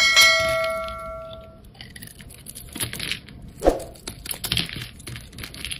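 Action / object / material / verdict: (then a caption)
scrape / soap bar / soap / none. A hand-sized solid yellow bar of soap with a thin bronze outer coating is held in the hand and shaved and scraped with a utility knife blade, sending chips flying. It opens with a short bell-like ding that rings and fades over about a second and a half, followed by bright, crisp scraping and shaving strokes with a sharp click partway through.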